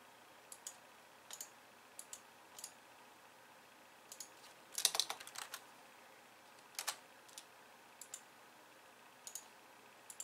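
A pink plastic computer keyboard with white keys is typed on with both hands at first, then pressed more slowly by the fingertips and long nails of one hand. About 22 soft, bright plastic clicks sound in quiet, mostly in spaced pairs and small clusters, with a denser flurry of rapid clicks around the middle. Each click is short and dry, with almost no low end.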